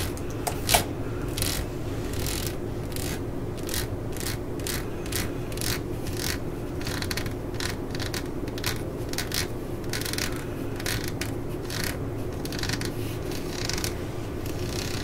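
Long nails scratch across the ridges of a ribbed solid rubber hammer grip resting on a mat. Quick, bright, raspy strokes repeat steadily over a constant low hum, with one sharper click near the start.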